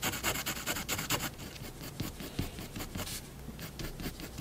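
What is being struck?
Fineliner pen on drawing paper over a wooden desk.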